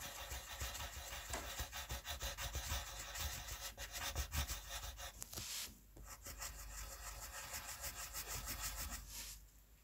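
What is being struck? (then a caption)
Wooden colored pencil on a paper sheet. A red wooden colored pencil rubs and shades across a white paper coloring sheet, filling in a letter. Rapid back-and-forth strokes make a dense, bright scratching hiss over a low rumble, with a brief pause near the middle before the strokes resume and then fade out at the end.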